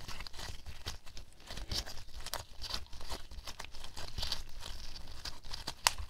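A small white lump of homemade glue slime is squeezed and folded in the fists of pink latex-gloved hands above a table. It gives a steady stream of soft, wet crackling and sticky crinkling, with brief bright snaps throughout and one sharp pop near the end.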